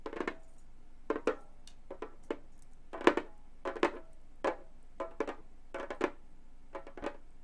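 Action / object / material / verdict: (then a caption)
tap / frame drum with synthetic head / synthetic membrane / none. Gold metal claw nails tap and scratch on the synthetic skin head of a hollow Remo frame drum. Short, dry taps with bright clicky edges and a brief mid-pitched hollow tone come in irregular clusters and die away almost at once, with soft scratchy strokes between them.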